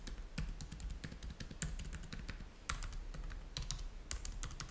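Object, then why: Plastic laptop keyboard. Both hands type fast with their fingertips on a black plastic laptop keyboard. A dense, rapid stream of light keystroke clicks is heard, each with a bright tick over a soft low thud, with a few sharper, louder taps standing out.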